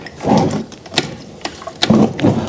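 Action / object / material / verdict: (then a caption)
shake / metal engine block partly filled with liquid / metal / none. A metal engine block from a 1986 Nissan Pulsar, filled with liquid to flush out metal debris after its timing belt snapped, is shaken so the liquid sloshes around inside. Low, muffled swishing surges are broken by several short, bright knocks of metal.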